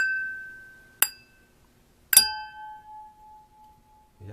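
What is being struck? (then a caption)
Crystal wine glass. A crystal wine glass is struck twice, each tap giving a bright clink that blooms into a high, pure ringing tone. The second strike sustains a long, clean ring that slowly fades. The glass rings with the clear, transparent tone typical of crystal, rather than the dull, short thud of ordinary glass.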